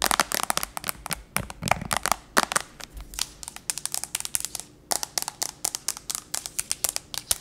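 Long nails tap and scratch the gold aluminum back and edges of a thin, solid tablet with a glass front, held in one hand. Rapid, sharp, bright clicks come in quick bursts, mixed with short scratchy rasps. There is a brief lull just before five seconds, and then the quick tapping resumes.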